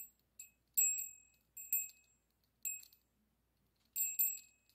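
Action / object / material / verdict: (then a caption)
shake / small brass bell with clapper / brass / none. A small hollow brass-coloured metal bell with an internal clapper hangs from a yellow pipe cleaner held in the fingertips and is shaken, while a second bell sits untouched on the table. It gives bright, high tinkling rings in short, irregular bursts, each fading quickly into quiet between shakes.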